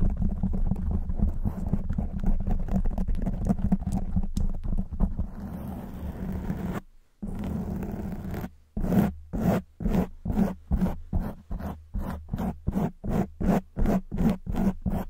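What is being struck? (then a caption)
Foam microphone windscreen. Long white nails on both hands scratch a black foam windscreen on a silver microphone, producing dense, continuous low, rumbly scratching for about seven seconds. After a brief silence, the scratching returns as a steady series of separate, rhythmic strokes that stay heavy in the low end with little brightness.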